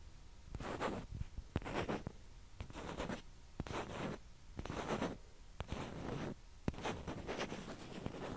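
Long nails scratch across the surface of a small, hollow, white plastic ping pong ball held in both hands. The result is a series of soft, raspy scratching strokes with a few sharp clicks between them. The sound is quiet and close, with a dull low body and faint bright hiss.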